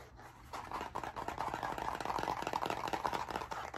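A medium blue spiral notebook with a stiff cardboard cover and metal wire binding, held flat before the microphone, has its cover scratched and tapped fast with fingertips and nails. After a quiet half second, a dense stream of quick, dry, scratchy taps and scrapes follows, centered in the midrange around 950 Hz. Each tap dies away almost instantly.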